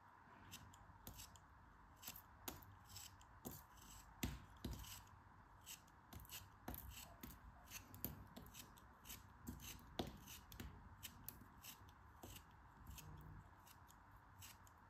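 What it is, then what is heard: Kinetic sand being cut with a knife. A small, solid yellow molded block of kinetic sand, held in the fingers, is carved with a metal craft knife that cuts off chunks. Quiet, crisp slicing clicks and soft crumbly thuds repeat irregularly throughout, each with a bright, gritty edge that dies away almost instantly. A faint steady hiss sits underneath.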